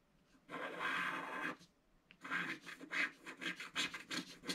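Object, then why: Scratch-art paper page scratched with a wooden stylus. A wooden stylus scratches the black coating of a scratch-art card in a book, first with one long steady scrape, then after a short pause with a quick run of short, uneven rasping strokes. The scratching is dry and bright, with almost no low end.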